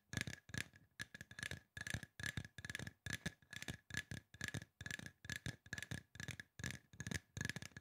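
A hollow, silver aluminum spray bottle with a trigger top is tapped quickly with fingertips and nails. Short bursts of crisp, clicking taps repeat in an uneven rhythm, each carrying a thin metallic ping near 1.7 kHz that dies away almost at once.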